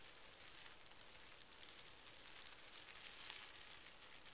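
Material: Paper.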